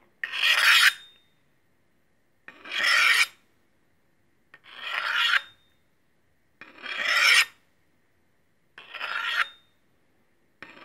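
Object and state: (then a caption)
Steel cleaver being honed. A large, solid stainless steel meat cleaver held in the hand has its blade slid along a steel honing rod. Five full, bright, rasping metal-on-metal scrapes, each lasting about a second and separated by silence, are followed by a sixth starting at the very end. A faint high metallic tone rings through each stroke.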